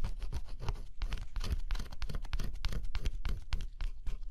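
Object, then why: Cardboard jigsaw puzzle with scratch-off coating. A thin scraper stylus scratches the black scratch-off coating off a figure on a flat cardboard jigsaw puzzle. Close, dry scraping strokes sound in quick, uneven bursts with bright grainy edges over a low rumble.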